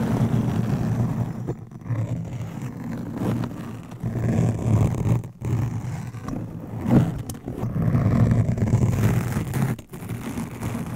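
Razor blades glued to fingernails and a hand-held metal razor blade scrape and scratch across a soft, round, fist-sized black foam windscreen covering a microphone. The result is a continuous, muffled, low rumbling and scratching with almost no bright content, swelling and dipping with a few brief near-silent gaps.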